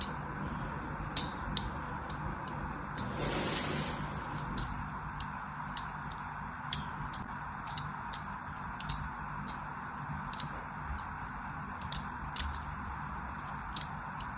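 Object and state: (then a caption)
Bar soap being scored. A thin metal needle-like blade, held by fingers with long painted nails, scores lines across a solid, rectangular, hand-sized white bar of soap held in one hand. Repeated scratches make sharp, bright, tick-like clicks at a fairly steady rhythm over a constant low hum, with a brief hissy swell around three to four seconds in.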